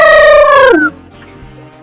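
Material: Nothing is struck.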